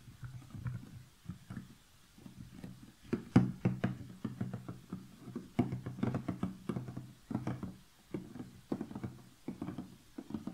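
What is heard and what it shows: Long fingernails tap and scratch the lid of a large, closed cardboard jigsaw puzzle box resting on a table. The result is a steady run of soft, dull, hollow taps, low and boxy, with very short decay. Brief scratchy rasps rise into brighter tones between them.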